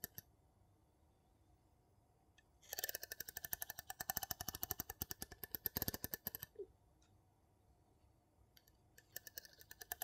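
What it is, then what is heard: Metal jar lid tapped. The tip of a wooden spatula taps rapidly on the gold metal lid of a small glass jar. A dense burst of sharp, bright clicks runs for about four seconds, pauses, then resumes in a lighter flurry near the end. Each tap dies away almost instantly.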